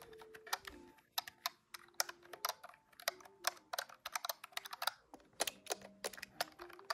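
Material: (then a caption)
Plastic. Fingertips tap quickly across the keys of a large grey-white plastic desktop calculator with a hollow body, in a rapid typing pattern. The result is a fast, irregular stream of short, bright, clacky plastic clicks that die away almost instantly, with brief pauses between bursts.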